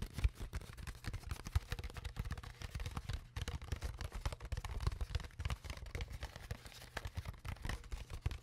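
An empty, clear, ridged plastic water bottle, hollow and held close to the mic, is scratched and tapped along its crinkled plastic walls with long nails. Dense crackling scratches and sharp taps come in rapid succession over a low, muffled thump-heavy bed, with quiet stretches between bursts.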